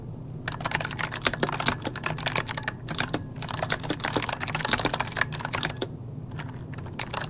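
Both hands type rapidly with their fingertips on an RGB-lit plastic mechanical computer keyboard with hollow key switches, resting on a desk. Bright, sharp clicks and clacks come in dense, uneven bursts, with brief pauses near the middle and a longer quieter stretch toward the end, all over a faint low steady hum.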